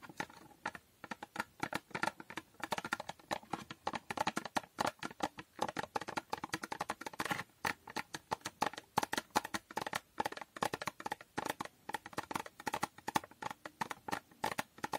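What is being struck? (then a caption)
Small foil-covered cardboard box. Long nails tap quickly on a small, hollow cardboard box with a holographic foil finish. The result is a dense run of short, crisp clicks with a hollow, papery ring around 860 Hz and a bright edge, each one dying away almost instantly.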